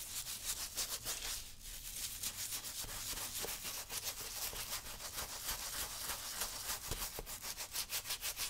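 A small stiff-bristle brush with a wooden handle is rubbed vigorously over the saddle-soap-lathered upper of a brown leather work boot worn on a foot. The result is rapid, steady back-and-forth scrubbing strokes, about three per second, with a bright, hissy bristle rasp that grows more evenly rhythmic toward the end.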